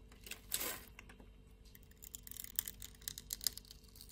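A blade scrapes across the grid-scored surface of a solid light-blue soap bar, cutting it into small cubes. A brief bright swish is followed by a quick run of crisp, high, dry crackles and ticks as the cubes break away.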